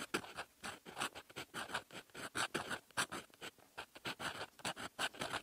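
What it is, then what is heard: Fountain pen nib writing on lined paper. A silver metal fountain pen nib writing in red ink on a flat sheet of lined paper. It makes quick, continuous scratching strokes, soft and dry with a bright hiss, in short bursts that start and stop with each stroke.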